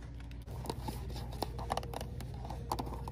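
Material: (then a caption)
Cardboard. Long nails rub, scratch and tap a small, hollow white and pink Garnier Water Rose cardboard box holding a jar, held in the hand. The result is soft, dry crinkly scratching punctuated by light, sharp taps, with faint music in the background.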